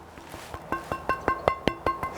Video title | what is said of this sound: Were STICKS effective battlefield WEAPONS? Reply to Scholagladiatoria | galvanized steel two mil thick let's see if you can hear it let's see if we can get that the ring